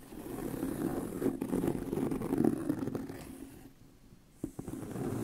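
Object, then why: Leather handbag. Fingernails scratch along the seam of a tan pebbled leather handbag with a hollow body. The result is a dense, low, rough scraping rumble that swells to its loudest around the middle, fades nearly to silence, then returns after a sharp tap.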